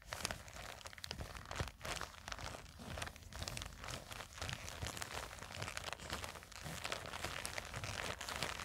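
Long nails scratch and squeeze a small black printed nylon zippered cosmetic pouch resting on a table, so its contents may crinkle. A dense, steady stream of bright, dry crinkling and scratching with quick crunchy ticks runs throughout, with a soft low rumble underneath.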